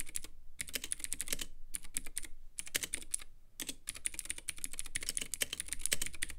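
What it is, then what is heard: Plastic mechanical keyboard being typed on. A compact Womier K66 mechanical keyboard with Gateron Blue switches, white plastic keycaps and a clear RGB acrylic case is typed on steadily with the fingertips. It gives a fast run of bright, crisp clicky keystrokes, broken by a few brief pauses.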